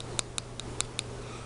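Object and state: Eyeshadow worn through to terracotta base plate.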